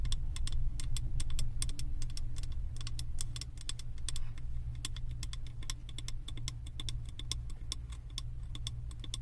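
Long acrylic nails tap rapidly and irregularly on the side of a large glass candle jar filled with solid wax and printed with house designs. The taps are short, bright clicks with almost no ring, layered over a steady low rumble.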